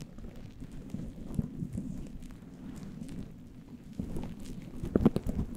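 Fingertips and nails scratch and pinch a fluffy faux-fur synthetic windscreen on a microphone with both hands. The result is a dense, low, muffled rustling crackle with faint brief ticks, growing louder and busier near the end.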